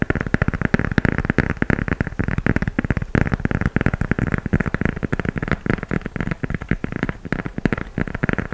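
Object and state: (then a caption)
Gum rubber shoe sole. Fingernails tap and scratch the tan gum rubber outsole with dotted tread on a knit sneaker held sole-up. Rapid, dense, dry clicks and scrapes run steadily throughout, with a low, thuddy body and no ring after each tap.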